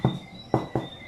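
Three dull, hollow taps on a large home-baked organic bread loaf, just out of the oven after 40 minutes at 220°C, checking that it is fully baked. Each knock is a short, low thud with almost no ring, and a faint steady high tone sits in the background. The hollow sound shows the loaf is baked through, which its crumb confirms.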